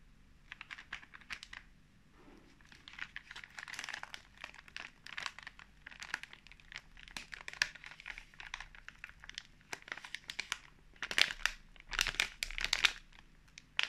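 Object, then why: Plastic film snack pouch. A full, flat, sealed pink-printed plastic film pouch of marshmallows is held and handled by bare fingertips. The film crinkles in dense, bright bursts of crackle that swell and fade across the clip, loudest near the end.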